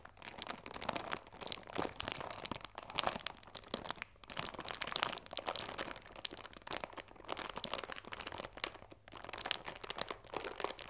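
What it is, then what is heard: Cellophane-wrapped cardboard tea box. A chamomile tea box made of cardboard wrapped in clear plastic film is held in both hands while long nails and fingertips rub and squeeze the wrap to crinkle it. The result is a dense, continuous stream of crisp, bright crackling and crinkling with almost no low end, rising and falling in short bursts with brief pauses between.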